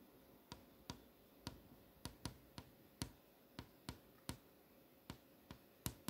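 Long nails tap and trace across a flat glass touchscreen display, over the text and posters on it. Fourteen short, sharp clicks stand apart, each bright and dying away almost at once over a soft, steady hiss.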